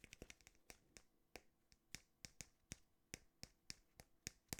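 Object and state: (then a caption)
Artificial plant, tapped. A small fake IKEA plant from a shelf, with a real-feeling bulb, paper-like leaves and fake soil, is tapped and handled. About twenty short, crisp, dry clicks sound, bright and papery with almost no ring. They come in irregular succession over quiet rustling.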